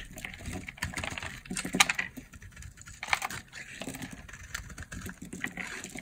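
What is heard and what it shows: A blade scrapes and shaves a solid, hand-sized peach bar of dry soap held in the palm by long nails, curling it into flakes. The sound is a dense run of crisp, bright scraping and crackling, with short dry strokes and two sharper snaps partway through, each stopping instantly with no ring.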